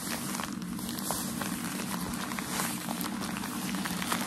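Crumpled white shoe packaging paper is held in the hands and rubbed and scratched with fingertips and nails. A steady, dense crinkling and rustling continues throughout, with small sharp crackles scattered across a soft scratchy texture.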